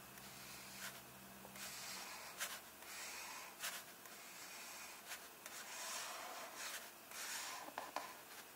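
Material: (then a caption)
Paper. A fingertip rubs across the paper page of an open illustrated book, taps on it, and points to it. The result is a soft, bright, papery rustle with a few short taps.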